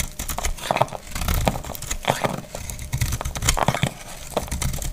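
A palm-sized, solid, translucent green glycerin soap bar is held in the hand and shaved with a utility knife blade, and curled shavings fall away. A quick run of short, crisp scraping and crinkling strokes comes with bright, papery edges over a low, dull body, and each stroke dies out almost at once.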